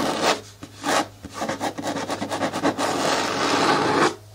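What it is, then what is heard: Plastic bin scratched with nails. Long nails scratch and rub the front wall of a medium-hard, hollow green plastic bin with a lid. Two separate raspy strokes are followed by a quick run of short scrapes, then a steady, bright rubbing that stops abruptly near the end, leaving a faint low hum.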